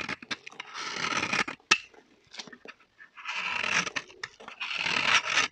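A small, solid orange bar of dry vintage soap, held in the hand, is shaved and carved with a metal box-cutter-style knife, its shavings falling onto a pile of soap flakes. Bright, crunchy scraping strokes come in two longer sustained runs, broken up by short, dry cutting clicks and brief pauses. The sound is mostly high and crisp with almost no low end.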